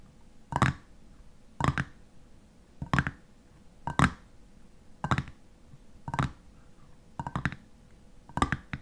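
Fingernails tap and scratch the top of the white metal screw lid on a nearly empty clear glass jam jar. About nine short, dry clicking bursts come roughly once a second, some with quick double taps or scraping, and each dies away almost at once against a quiet background.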